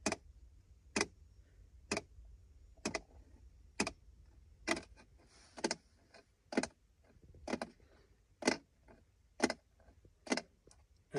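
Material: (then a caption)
Plastic. Fingertips tap sparsely on a plastic gear shift selector plate on a car's center console, a flat panel over a hollow space. Short, dry, clicky taps land roughly once per second over a quiet background.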